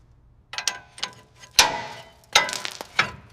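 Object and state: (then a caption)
Solid steel chassis crossmember. A steel chassis crossmember on a rusted WWII Austin K2/Y ambulance, taken apart for teardown, is struck nine times at an irregular pace. Each hit gives a sharp, bright metallic clink with a brief ring. It sounds solid at that spot, though there is pitting around the bolt.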